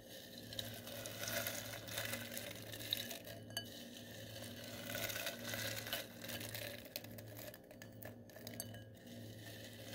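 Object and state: Glitter foam balls stirred in a glass bowl.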